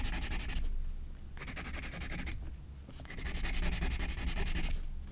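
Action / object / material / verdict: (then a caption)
scrape / graphite pencil on a paper spiral sketchbook / paper / none. A graphite pencil scratches quick, repeated hatching strokes across a white paper page of a spiral sketchbook. Three bursts of fast, dry, bright scratching are separated by quieter pauses, over a steady low rumble.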